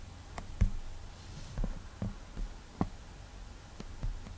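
Fingertip strokes and taps on the flat glass screen of an iPad touchscreen tablet while painting an eye and picking a colour. Soft, dull low taps and brief swipes sit over a faint hum, with five separate hits standing out and barely any ring.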